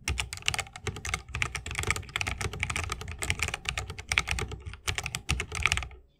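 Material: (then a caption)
Plastic, wood. Both hands' fingertips type fast on a 60% mechanical keyboard with plastic keycaps on tactile Holy Panda switches, set in a solid bamboo wooden case with RGB lighting and resting on a wrist rest. A dense, steady stream of short, bright clacks with a low thocky body runs for about six seconds. The typing then stops and fades to quiet.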